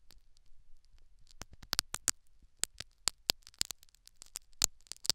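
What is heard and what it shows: A metal syringe needle pokes and scratches at the foam plug and canal wall of a silicone dummy ear microphone. The result is a quiet run of sharp, bright clicks and crackles that grow denser toward the end, with faint scratchy rustling between them.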